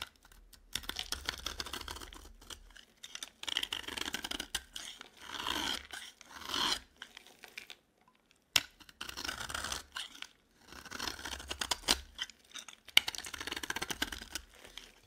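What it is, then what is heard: Dry bar of soap being shaved. A dry yellow bar of solid soap is scraped and shaved with a metal utility knife blade. Bursts of crisp, bright scraping and crunching come in uneven runs, broken by short silences and a few sharp clicks.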